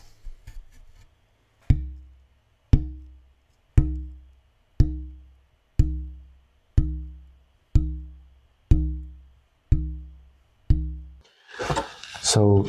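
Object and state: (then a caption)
Spruce soundboard plate with weak vibration. The right half of a German spruce soundboard plate for an oud is tapped ten times at an even one-second pace, each tap giving a short, low, woody knock that dies away quickly with a tone very close to C. The plate lacks good vibration compared with spruce used before, and the clip ends with a burst of broadband rustling.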